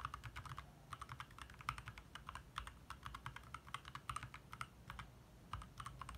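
Both hands' fingertips type rapidly on a compact backlit 60% mechanical keyboard with plastic keycaps, resting on a desk in the dark. A steady stream of short, crisp plastic clacks sounds, each with a bright click over a soft low thump, with occasional louder key presses standing out. The keystrokes die away almost instantly, leaving a quiet, dry typing rhythm.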